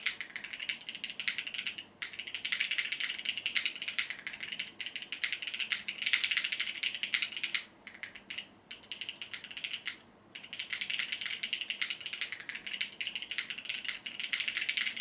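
A compact mechanical keyboard with multicolored plastic keycaps, resting on a desk mat, is typed on rapidly with the fingertips of both hands. Dense, bright clicking and clacking of key presses runs continuously, with short pauses near 2, 8.5 and 10 seconds.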